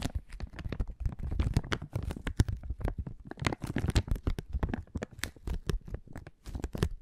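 A small, thin, flexible clear plastic resealable zip bag, apparently empty or nearly empty, is held in both hands and crinkled and rubbed with the fingertips. A continuous run of dense, short crackles and crinkles is heard, with a soft low rumble underneath and bright, sharp snaps throughout, all at a fairly quiet, close level.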